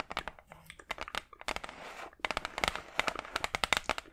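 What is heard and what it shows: Long acrylic nails tap and scratch a large, flat brown wooden hardboard clipboard, a solid thin board held close in front of the mic. Quick, bright, dry clicks patter in uneven bursts. Midway they give way to a soft, hissy scratch before the rapid tapping returns, with almost no low end and no ring after each hit.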